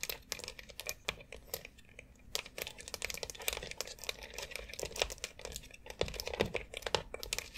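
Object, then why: Plastic foot massage board tapped and scratched with long nails. Long acrylic nails scratch and tap across the rounded nubs and central dome of a white plastic foot massager board. The result is a dense run of quick, dry clicks and scratchy rasps, bright and crisp with almost no ring after each tap.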